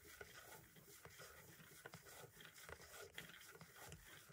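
The fine pointed tip of a green-striped pen-like tool traces along and taps a small, hollow white plastic audio cassette shell that is held still. A continuous soft, scratchy rasp of tracing runs throughout, broken by sharp, bright little clicks from the taps.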